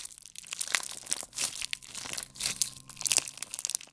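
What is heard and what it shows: A solid handful of clear slime with colored beads is stretched and squeezed with both hands. The beads give off dense, bright crunching and crackling bursts, with little low end beneath.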